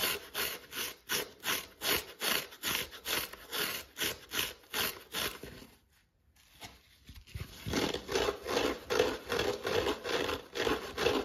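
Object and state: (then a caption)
Foam kitchen sponge with scouring pad. Fingertips scratch and rub a dry yellow foam kitchen sponge with a green abrasive scouring pad held in the hand, with foam crumbs sticking to the fingers. About 23 rhythmic, bright, raspy strokes repeat steadily at roughly two and a half per second, broken by a brief near-silent pause around the middle. The strokes then resume with a faint midrange tone running beneath them.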